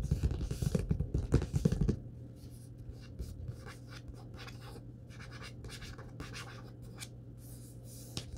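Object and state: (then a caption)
Paperback book with card cover. Fingertips and short nails tap and scratch the glossy card front cover of a thick, closed Star Wars paperback lying on a wooden table. The first two seconds bring a busy run of dull, low taps with scratchy rustle. After that, quieter, softer scratching drags across the cover over a low steady hum, ending with one sharper tap near the end.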